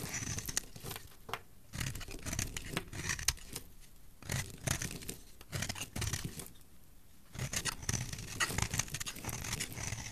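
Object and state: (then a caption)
Bar of soap being shaved. A flat metal blade scrapes and shaves the surface of a solid, palm-sized pink bar of soap held in one hand with long dark nails, sending curls and flakes falling off. The result is bursts of dry, crackly scraping with bright edges and a low rumble underneath, broken by short quiet pauses between strokes.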